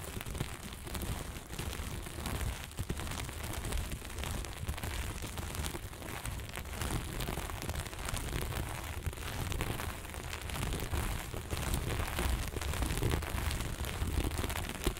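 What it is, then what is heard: Sequin fabric being scratched. Flat sequin fabric is scratched fast and hard with the long nail tips of both hands. The result is a dense, continuous crackling scrape with a heavy low rumble, holding a steady loudness for about fifteen seconds with no pauses.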